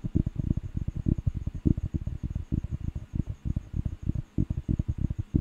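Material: Paper.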